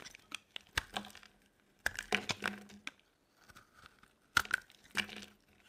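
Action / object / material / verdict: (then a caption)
scrape / bar soap cut with a metal blade / soap / none. A metal blade carves a solid, dry orange bar of soap held in the hand, shaving off thin pieces that fall away. Short, crisp scraping and crackling strokes come in uneven clusters with quiet gaps between them, bright and dry with almost no low end or ring.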